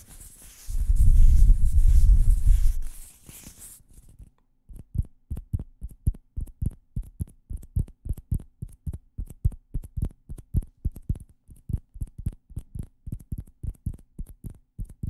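Two small hollow orange plastic ping pong balls, one held in each hand, are handled close to the microphones with a loud low rustling rumble for about three seconds. After a brief quiet, they are tapped with the fingertips in a rapid, fairly steady series of short, dull, low taps that each die away almost at once.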